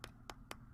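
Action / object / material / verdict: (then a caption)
tap / waxed cheese wheel / cheese / dry. Three sharp, dry taps on a dried-out, hardened spot in a cut-open home-waxed cheese wheel, each click brief with almost no ring, over a low steady background hum. The spot went hard from exposure to air.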